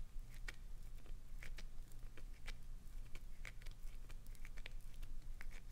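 Long acrylic nails scratch and dig into the face of a clear green solid glycerin soap bar held on its edge, sending shavings falling. Quick, dry, crackly scrapes with a bright edge around 2 kHz sound over a steady low hum, each one dying away almost at once.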